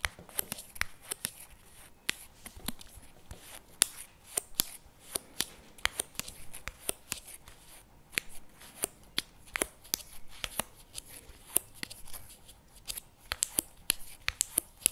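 Fingertips and short nails tap and scratch the printed lid and rim of a medium CremaNovi chocolate spread tub, plastic and likely full, standing on a table. Around 39 sharp, bright clicks sound with almost no ring, separated by soft, scratchy rustling.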